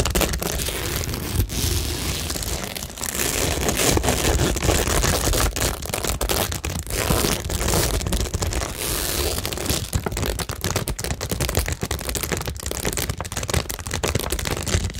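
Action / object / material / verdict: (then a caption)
scrape / cork board studded with plastic rhinestones and pearls / cork, plastic / none. Long nails scratch and tap across a cork tingle board covered in plastic rhinestones and pearls. The result is a steady, dense stream of crisp crackling and crinkly scraping, dotted with quick clicks that reach up into bright, high textures over a full low end. It continues without pause for the whole clip.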